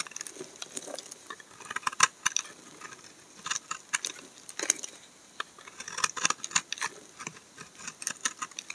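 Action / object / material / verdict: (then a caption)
scrape / bar of laundry soap scraped with a knife blade / soap / none. A solid white laundry soap bar is held in the hand and scraped with a utility knife blade, peeling off curls of soap. Many short, dry, crisp scraping strokes follow in quick succession, bright and thin with almost no low end, each dying away almost instantly.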